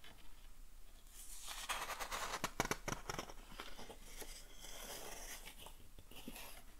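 A thick old book with yellowed paper pages is held open in one hand while fingertips rub the pages and turn them. Soft, dry papery rustling and crinkling swell in and out, with a cluster of sharp crisp flicks in the middle as pages are turned.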